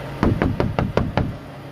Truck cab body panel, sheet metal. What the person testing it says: you hear the hollowness to that